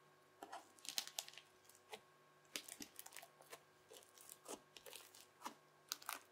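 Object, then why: Crunchy bubbly slime scraped with a plastic knife. A yellow plastic knife blade scrapes and presses into teal, bubbly, crunchy slime. It makes quiet, bright crackling and popping crunches in irregular bursts, each dying away almost at once.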